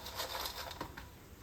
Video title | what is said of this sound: മധുര കിഴങ്ങ് ഇതുപോലെ പൊരിച്ചാൽ അടിപൊളി ടേസ്റ്റ് മക്കളെ | അതിന്റെ സൗണ്ട് നിങ്ങൾ കേൾക്കുന്നുണ്ടല്ലോ നല്ല ക്രിസ്പി ആണ്